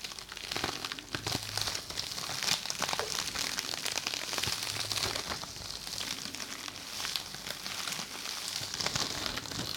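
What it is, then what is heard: Plastic-wrapped sponge being squeezed. A small, flat, yellow fuzzy sponge or felt pad, partly covered by a clear printed plastic wrapper, is held in both hands close to a binaural microphone while fingertips squeeze and rub it. The wrapper gives a steady, bright crinkling and crackling for the whole clip, full of quick, dense snaps and very little low end.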